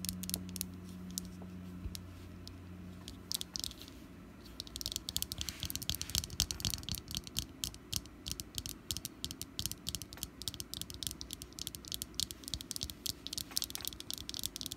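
Long black nails tap and scratch a small, solid orange wax jack-o-lantern candle with a wick, resting on a table. A low, steady hum fades after the first few seconds. Dense, irregular bright clicks and scratchy rasps then follow, each short and dry, with no ring.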